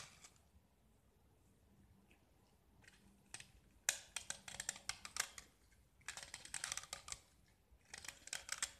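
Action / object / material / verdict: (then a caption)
scrape / painted gypsum brick / gypsum / none. A metal utility knife scrapes a small, solid gypsum tile painted yellow and white, held in the hand, peeling off white gypsum shavings. Bright, dry, crackly scraping comes in rapid strokes, with a few faint scrapes early on and then three dense bursts separated by quiet pauses. Each stroke ends almost instantly, with no ring.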